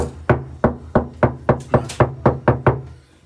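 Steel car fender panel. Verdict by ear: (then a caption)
Tinny. Ten knocks on the undamped left-side steel fender panel of a Hyundai Stargazer, before sound damping is added, each giving a short, hollow, tinny ring with a low thud that decays within a fraction of a second. The panel sounds very tinny, a trait linked to road and tyre noise coming through on long trips.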